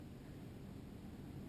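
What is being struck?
Nothing is struck.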